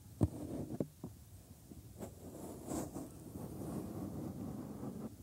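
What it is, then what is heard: Silicone ear of a binaural microphone. Bare thumbs rub the inside of the white silicone ear molds on a 3Dio binaural microphone, then fingertips stroke and tap the surface. Two sharp, close thumps stand out near the start, followed by a steady, muffled, low rumbling rub with soft scratchy brushes.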